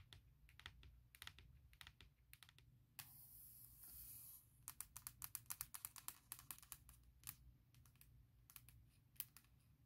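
Long nails and fingertips tap rapidly on the closed aluminum lid of a MacBook Pro near the Apple logo, making quick, sharp, bright clicks with almost no ring over a low background rumble. The tapping is briefly replaced by a steady, bright hiss for about a second and a half, then resumes as a fast, uneven run of crisp taps.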